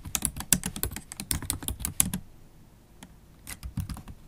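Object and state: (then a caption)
Laptop keyboard, plastic keys in metal body. Long acrylic stiletto nails type rapidly on a MacBook Pro keyboard with black plastic keys set in an aluminium body, making quick, crisp clicks and taps with a bright edge over a low thud. After a burst of fast typing, the keys pause briefly, then a few more scattered taps follow.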